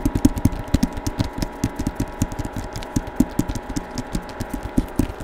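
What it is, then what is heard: Hardcover book. Fingertips tap on the front cover of a Star Wars hardcover book with a paper jacket, held in both hands. The result is a quick, uneven stream of short, dull, low thumps that die away almost instantly, with a faint papery brightness on each tap.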